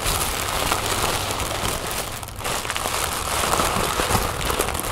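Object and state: Tissue paper being crinkled.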